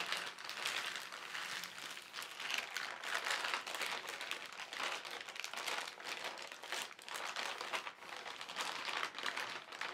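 A large, thin white printed plastic carrier bag with black lettering lies flat while both hands rub and crinkle the film with fingertips and palms. The result is a steady, soft, bright crinkling that swells and eases gently throughout, with no low-end weight.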